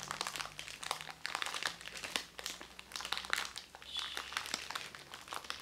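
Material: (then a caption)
Cellophane. A small round white makeup sponge in crinkly cellophane wrapping is held close and rubbed and squeezed with the fingertips. The result is a continuous, bright crinkling of dense, crisp crackles with no low end.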